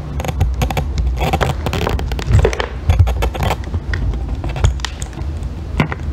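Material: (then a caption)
Soap. A thin metal extractor tool scrapes shavings off a solid, partly carved-away pale green bar of soap held in long-nailed fingers. The result is a steady run of dry, crackly scraping strokes with short bright ticks over a heavy low rumble.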